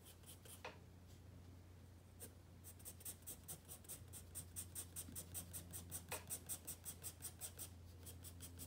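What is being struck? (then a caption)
Paper sketchbook page under a pencil. A wooden pencil draws on a white spiral paper sketchpad resting on a wooden desk, making continuous rubbing and scratching strokes. Scattered strokes give way to a quick, fairly steady run of short, bright scratches over a constant low hum.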